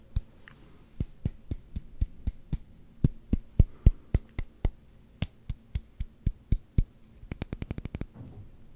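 A solid black rubber hockey puck is tapped with the fingertips, giving about 31 short, dull, low thuds over a faint steady hum. The taps come at a slow, uneven pace for most of the clip, then speed up into a quick run of light taps near the end.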